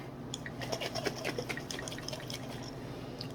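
A lidded glass jar of butter and buttermilk is shaken again, giving a rapid, irregular run of wet sloshing splashes and drips. The sloshing shows that liquid buttermilk has separated from the solid butter.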